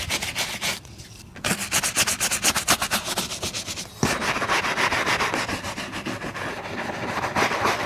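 A wooden bristle shoe brush rapidly scrubs over the toe and laces area of a brown leather boot. It makes quick, bright, bristly swishing strokes at about four per second. The strokes pause briefly after the first second, then resume and blur into a denser, steady scrubbing.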